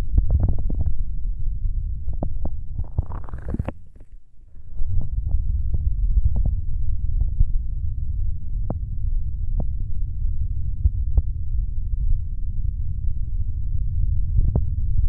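Flat fingers of both hands rub and tap the hollow gray plastic shell of a binaural dummy-head microphone. A constant deep, muffled rumble runs throughout, with scattered short, sharp taps on top. Around the three-second mark, a brief rising rubbing swish turns brighter before the sound drops quiet for a moment and then the rumble returns.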